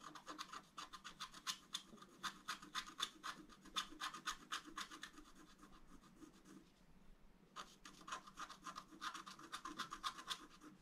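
A wooden stylus scratches small areas of a thin, solid, flat black wax-coated scratch-art card, producing quick, bright, dry scraping strokes at a brisk, uneven pace. The strokes pause briefly just past the midpoint, then resume with the same rapid rhythm until the end.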